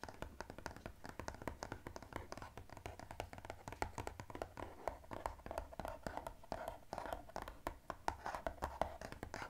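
Fingernails tap and scratch quickly across the surface of a blue-and-white striped cardboard gift box lying flat. Sharp, dry clicks come in a steady, rapid stream, each dying out almost instantly, over a soft scratchy hiss with a faint hollow tone around 660 Hz. The overall level stays quiet throughout.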